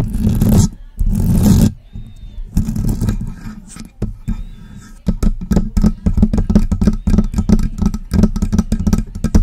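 Long press-on nails scratch and tap the hollow body and top grille of a silver metal USB microphone. Broad, boomy scraping bursts open the clip, then a quick run of dozens of short, low, thumping taps with almost no ring follows, heard up close through the microphone itself.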